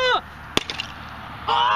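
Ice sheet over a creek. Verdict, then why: Hollow. Something thrown onto a thick patch of creek ice with air underneath lands with one sharp, bright crack, followed by three quicker, fainter cracking clicks as the ice shatters. Short voiced tones can be heard just before and after the impact.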